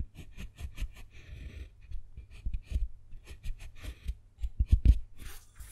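A metal carving tool scratches letters into a square of a segmented solid dark chocolate bar, next to a name already carved there. Short, dry scraping and tapping strokes come in quick bursts, mostly low thuds with faint bright scratch hiss on top, and a couple of louder knocks near the end.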